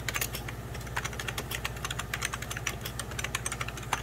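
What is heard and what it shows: Fingertips of both hands type quickly on a hollow, beige 1990s Packard Bell plastic computer keyboard. The key taps are a steady run of short, bright plastic clicks, and a constant low hum sits beneath them.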